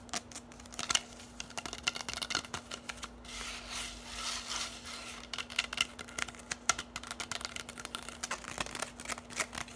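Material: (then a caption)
Plastic. Long nails tap and scratch a bundle of hollow orange plastic drinking straws, making quick, bright, dry clicks with almost no ring. Around the middle, the tapping gives way to a steadier raspy scratching before the fast clicking picks up again, all over a faint, steady low hum.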